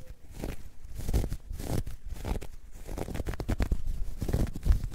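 A dark grey, ribbed knit fabric bag, soft and hollow, is crumpled and scratched with long nails and fingertips. The sound is a deep, muffled rustling and scratching, mostly low in pitch, with repeated short scrapes and crinkles over a soft rumble.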